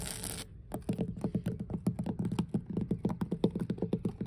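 Long blue nails on both hands tap and scratch the surface of large, solid, weathered wooden deck planks on an outdoor dock by the water. After a brief burst of bright hiss, a rapid, uneven stream of short, dry taps with a low, woody thump near 190 Hz continues to the end, each dying out almost instantly.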